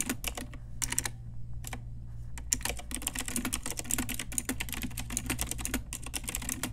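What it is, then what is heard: Plastic mechanical keyboard. An Ajazz pink retro typewriter-style mechanical keyboard with round plastic keycaps is typed on with long nails and fingertips. Rapid, bright, sharp clicks and clacks come in quick bursts with short pauses. A steady low hum runs underneath throughout.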